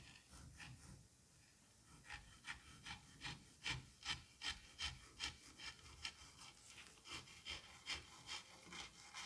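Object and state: Kinetic sand being cut and scraped.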